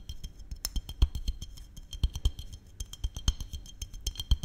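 Fingertips and nails tap a small glass maple syrup bottle with a red cap, held in both hands close to the microphone. The rapid, irregular taps land as soft low thumps with bright, glassy clicks on top, each dying away almost instantly.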